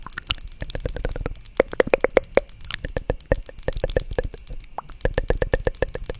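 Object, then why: Small plastic cosmetic jar lid. Long acrylic nails tap and scratch the lid of a small, hollow white plastic cosmetic jar close to the mic. The result is a rapid, uneven run of short, dry clicks with a faint hollow tone around 520 Hz.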